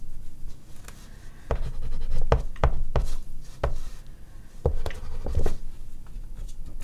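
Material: Paper.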